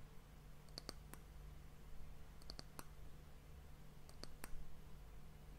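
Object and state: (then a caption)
Wooden hourglass end cap tapped with fingernails. Long fingernails tap and lightly scratch the top of a solid, polished brown wooden round end cap on a glass hourglass. Quiet, sharp, bright clicks come in three small clusters, each dying away almost instantly, over a steady low hum.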